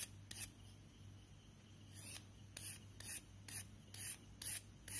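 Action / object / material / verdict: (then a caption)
scrape / chalk stick / chalk / none. A thin, solid white classroom chalk stick, held between chalk-dusted fingertips, is scraped and filed along its surface with a pen knife. The result is a series of short, bright, raspy scraping strokes at an uneven pace, over a quiet, steady low hum.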